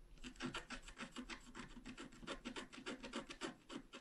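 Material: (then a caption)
Coated paper. A wooden stylus scratches continuously across a flat, black-coated scratch art card about A4 in size. It makes a dry, rasping rub in quick, uneven back-and-forth strokes, bright and papery with a light low-mid body. Each stroke cuts off sharply with almost no ring.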